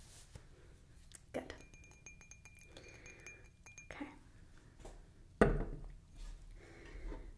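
A hollow stemmed wine glass, partly filled with pale wine, is held and handled by hand, likely tapped with fingertips or nails. Soft, clear glass clinks come and go, with a thin, high ring hanging in the middle of the clip. A sharper, louder knock follows near the end before the quiet handling resumes.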